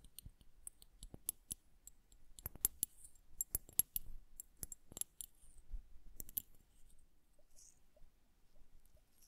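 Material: Glass.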